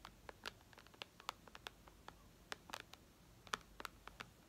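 Long red nails tap and scratch the glass touchscreen of a white iPad resting on a tablecloth. Quiet, sharp clicks with bright, crisp edges come in an irregular patter over a faint hiss. The taps are brief and dry, with no ring after each one.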